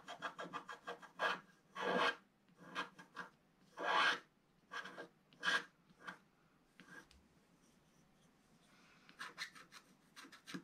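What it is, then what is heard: Wax-coated scratch art paper being scraped. A wooden stylus slowly scrapes the black coating at the lower right of a flat sheet of wax-coated scratch art paper. The result is a series of dry, rasping scratches of uneven length, with longer, louder strokes among short quick ones. After a quieter stretch, a cluster of brief, bright scratches closes the clip.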